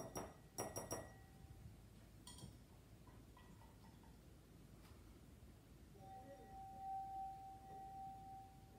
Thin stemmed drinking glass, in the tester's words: it already kind of sings just when you tap on it